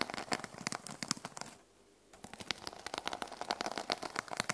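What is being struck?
Notebook with plastic sequin cover.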